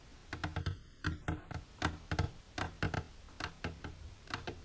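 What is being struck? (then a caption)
Plastic container. Long silver nails tap the side wall of an empty, clear plastic container standing upright. Quick, light clicks with a soft low thud come in uneven bursts, each dying away almost at once.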